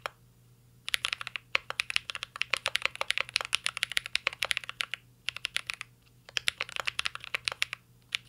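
Fingertips of both hands type on a full-size CYBERBOARD R3 mechanical keyboard with an aluminum case, plastic keycaps and Holy Panda switches. The result is a rapid stream of sharp, bright key clicks and clacks with almost no ring, in bursts with brief pauses over a faint low hum.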